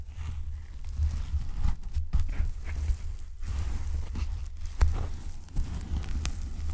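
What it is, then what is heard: Packing foam block. Fingertips tap, squeeze and rub a palm-sized, solid, light block of white polyethylene packing foam held in both hands close to the mic. The result is a steady stream of dull, deep thumps and soft rustling scrapes, heavy in low rumble, with a few sharper taps standing out.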